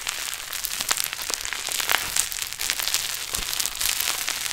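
A large pink mass of play foam, a foam bead modelling clay with a solid, beaded texture, is squeezed in both hands and then stretched upward. The result is a dense, continuous run of bright, crackly bead pops with almost no low end.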